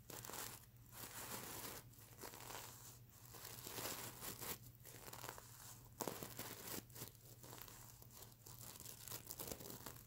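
Fingernails scratch and a hand rubs across the plastic sequins of a sequin-covered stuffed mermaid unicorn pillow. The result is a dense, bright crinkling and rustling, with a sharper burst around the middle and a faint steady low hum beneath it throughout.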